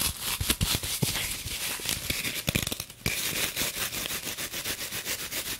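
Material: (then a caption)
Foam, plastic. A green floral foam brick wrapped in clear plastic is held upright in front of the microphone while long nails rapidly tap and scratch its surface. The result is a dense stream of bright, crinkly clicks and scratchy rustling, with sharper taps standing out over a constant hiss.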